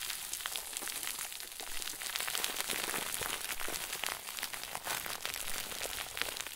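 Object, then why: Plastic bag stuffed into a ball. A round white plastic bag stuffed into a crinkle ball is squeezed and crumpled with both hands. It makes a dense, steady stream of bright, sharp crackles and rustles that runs through the whole clip with little low-end body.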